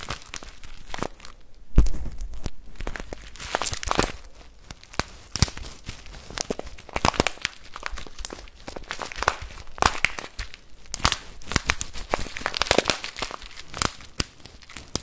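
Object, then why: Plastic bag filled with rice. A full clear plastic bag of rice is shaken and squeezed in the hand just above the microphone, giving dense crinkling and rustling with the rice grains shifting and crunching inside. Sharp, bright crackles cut through a steady low rumble, with a heavier thump early on as the bag is gripped.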